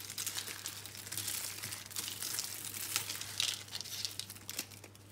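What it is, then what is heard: Dry soap crumbs. Hands squeeze, crush and rub a large pile of crushed green and pink dry soap crumbs. The result is a dense, bright, crackling crunch with scattered sharper crackles over a faint steady low hum.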